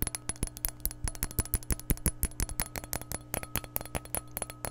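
A glass measuring cup is tapped in a quick, irregular run of short, sharp clinks close to the microphone. Each tap is bright but dies away almost instantly over a steady low hum.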